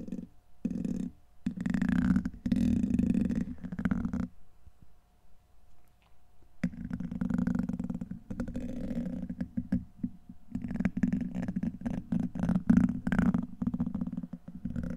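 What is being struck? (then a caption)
Steel wire-mesh microphone grille. A black plastic pen-like tool scratches and rubs across the hollow, rounded steel wire-mesh head of a large condenser microphone. The result is dense, scraping friction noise heavy in the low-mids, coming in bursts that swell and fade with short quiet gaps between strokes.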